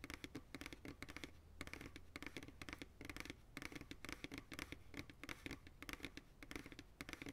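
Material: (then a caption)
Plastic. Fingertips and nails tap and scratch quickly on the sides of an empty, hollow white plastic ice cream pail held by its sides. The result is dozens of short, dry, bright clicks, each with a hollow plastic resonance. A soft scratchy rustle and a faint low hum sit between the taps.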